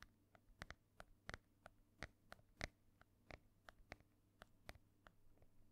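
Long nails tap and scratch across the cover of a solid, ornate embossed hardcover book held in one hand. About eighteen quiet, sharp, bright clicks land at an irregular pace, with faint scratching in between, and each tap dies away almost at once.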